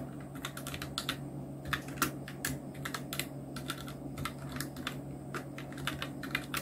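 Fingertips of both hands type steadily on a full-size black Nubwo Illution NK-70 mechanical keyboard with Outemu red switches, round plastic typewriter-style keycaps and blue backlight, resting on a white desk. The keystrokes are short, bright plastic clacks in a quick, uneven rhythm over a steady low hum.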